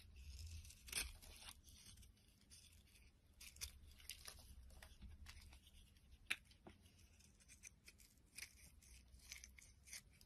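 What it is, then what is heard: Soap bar being shaved. A utility knife blade shaves long curls off the edges of a solid white soap bar with blue remnants, held in the hand. The cuts come as quiet, crisp, bright scraping strokes with sharp peaks, over a steady low hum.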